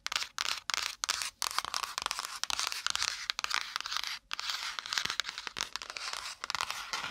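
Long acrylic nails rapidly tap and scratch the brown kraft cardboard cover of a small spiral-bound notepad with metal wire binding, held close to a binaural microphone. A dense, bright, dry clatter of quick scratchy taps comes in bursts, broken by a few brief pauses, with no low end.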